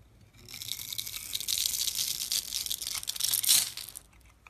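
A solid pink bar of soap, held in the fingers, is scraped and cut into small cubes with a metal blade as shavings fall off. It makes a continuous, bright, crisp rasping scrape that swells in loudness and peaks near the end before dropping away. There is almost no low-end body.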